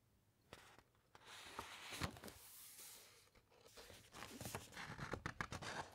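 Fingertips and nails rub across the thick, uncoated paper of an open encyclopaedia and turn a page. Quiet, dry rustling and scratchy strokes swell into a louder, breathy sweep of paper around the middle. Faster, brighter scraping and light flicks of the page follow toward the end.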